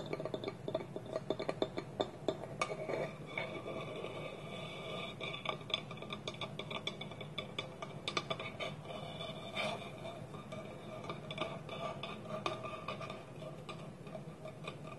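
Fingernails tap and scratch rapidly on a small, empty, hollow, polished wooden bowl sitting on a table, with its wooden lid held tilted on top. Dense, quick, dry clicks and knocks, with a hollow tone around 630 Hz, mix with a steady scratchy rasp, each tap dying away almost at once.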